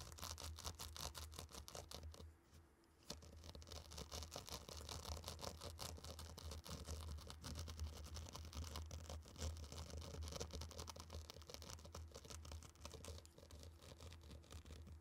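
Two round wooden sticks stir through a tray of loose, dry, fine pink and orange sand, making a steady, dense swishing and crunching of grains across a broad, bright hiss. A constant low hum sits underneath, and the stirring drops out briefly around two and a half seconds before resuming and continuing to the end.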